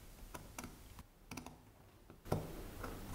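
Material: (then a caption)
Wood. A pointed metal carving knife tip picks and scrapes inside the little hole of a small solid block of light wood held between fingertips. It makes a series of short, dry clicking cuts over a soft scraping hiss. The clicks are quiet and close, with a low body and very little ring, and the last one is a slightly louder, fuller scrape.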